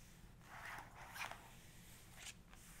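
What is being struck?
Glossy paper page of a photography book.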